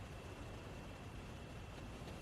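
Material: Nothing is struck.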